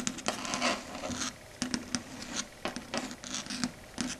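Long red stiletto nail tips tap rapidly on a flat, solid, dark grey chalkboard surface. Quick bright clicks and light scratchy patter come in short bursts separated by brief quiet gaps. Each tap dies away almost at once.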